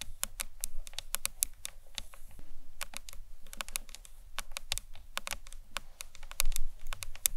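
Long nails tap a hollow green marbled acrylic box clutch purse, first along its ends and then across the top. The result is a steady stream of quick, bright, short clicks that die away almost instantly, over a faint low hum.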